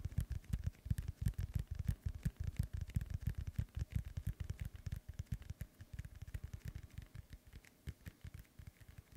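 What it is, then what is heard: Synthetic leather soccer ball. Fingertips and nails tap and scratch the top of a hollow, inflated synthetic leather soccer ball held up in the air. A rapid, uneven run of short, dull, low thumps sounds, with faint bright clicks on top, easing slightly toward the end.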